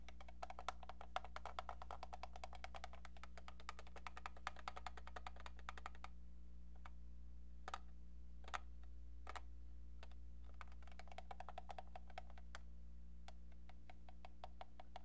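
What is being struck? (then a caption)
Plastic telephone handset. Long painted nails tap a hollow, hand-sized brown plastic handset from a football novelty phone. The sound is quick, light, clicky taps with a hollow mid-range tone, coming in fast irregular flurries that thin out to sparse single taps in the middle before speeding up again. A steady low hum sits underneath throughout.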